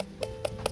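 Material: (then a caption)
Corn dough. Corn arepas cooking on an iron are tapped three times, each tap giving a short, hollow knock with a tone around 540 Hz. The hollow sound shows the arepas are cooked through; they are then opened to make a pocket for butter, cheese and ham.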